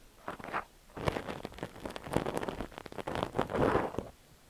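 A thin steel ear pick scrapes and scratches inside the ear canal of a cream silicone dummy-ear microphone. Close, crackly scraping comes in uneven bursts with short gaps. The result is a dense, rustling scratch sound with sharp clicks, without a steady tone.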